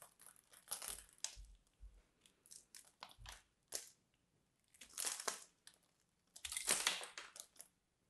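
A small metal blade scrapes and cuts flakes off the face of a solid, hand-sized purple bar of soap that is already partly carved and held in one hand with red-nailed fingers. Bright, dry scratching and crisp crushing sounds come in short bursts and longer clusters, with quiet gaps between strokes.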